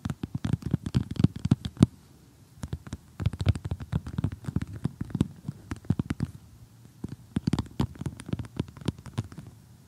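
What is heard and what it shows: Several painted fingernails rapidly tap and scratch across the surface of an assembled flat cardboard jigsaw puzzle. The quick, dull, low-pitched clicks come in dense bursts with brief pauses between them, each tap dying away at once with a faint scratchy edge.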